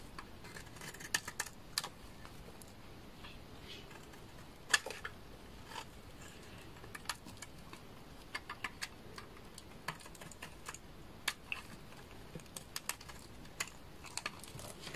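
A thin remaining piece of an amber laundry soap bar is shaved with a utility knife blade, giving sharp, dry, brief clicks and scrapes with bright high content over a quiet, steady background hiss. The short crisp cuts come irregularly throughout, a few standing out louder than the rest.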